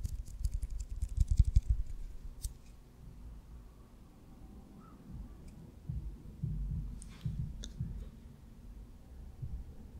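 Fingernails tap and scratch the surface and seams of a solid white leather baseball with red stitching, held in the fingers close to the microphone. A quick flurry of soft, dry, low thuds fills the first two seconds, followed by a quieter stretch of faint rubbing and then scattered irregular taps with a few brief bright ticks.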